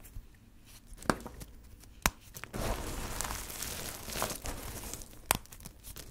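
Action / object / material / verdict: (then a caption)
scrape / pile of soap shavings and chips / soap / none. Fingertips scoop and rub a heap of small, multicolored, dry soap crumbs and chips, crushing small pieces between the fingers. Quiet crinkly crumbling is broken by three sharp, bright cracks, and from about the middle a louder, steady gritty rustle fills the rest of the clip.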